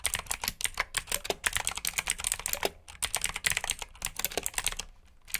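Fingertips type steadily on a black plastic backlit mechanical keyboard with blue switches. The result is a fast stream of sharp, bright clicks with very short decay, pausing briefly just before the one-second mark and near the end.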